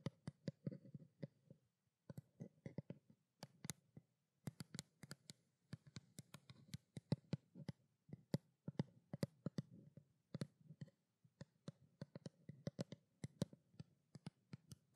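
A small hollow white plastic skincare water bottle is held in both hands and tapped with long black fingernails. The quiet, rapid taps come in quick clustered bursts separated by brief pauses. Each is a short, dry click with a low hollow body and a faint bright tick on top.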